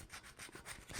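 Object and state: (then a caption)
Hollow-sounding cheap wooden figure. Fingernails scratch a wooden mannequin figure made of cheap, lower-quality wood, producing a dry, hollow-sounding rasp with bright high-frequency texture. The scratching comes in repeated strokes with short pauses between them.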